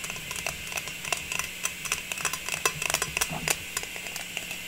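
A round printed metal tin lid, held upright in both hands, is tapped with long pink nails in an irregular run of about twenty quick, light clicks. Each tap is bright and tinny with a brief metallic ring near 2.6 kHz that dies away almost at once, over a faint steady low hum.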